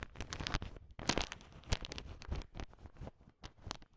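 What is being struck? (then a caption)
Heap of sugar-shelled peanut chocolate candies stirred with a wooden stick. A thin wooden stick mixes and scrapes through a heap of small, hard, sugar-shelled peanut M&M chocolate candies. It makes a dense run of crunchy, crinkling clatter with sharp bright clicks and low rumbling scrapes. The sound comes in uneven bursts that die away quickly.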